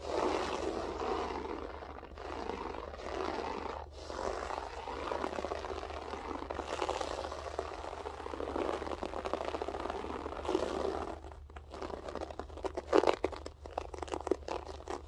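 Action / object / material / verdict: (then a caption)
scrape / loop-pile carpet scratched with fingernails / carpet fibre / none. Long acrylic French-tip nails scratch and pick at the textured loops of a flat beige loop-pile floor carpet. A steady, rough scratching rasp runs for about eleven seconds, then breaks into sharper, separate picking clicks over a faint low hum.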